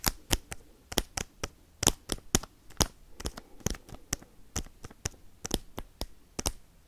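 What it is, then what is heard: Foil card pack tapped with metal paperclips. Metal paperclips worn on the fingertips tap and scratch a sealed foil Pokemon booster pack containing cards. About 19 sharp, bright clicks land in a fast, irregular rhythm, with soft crinkly scratching between them and no ring after each tap.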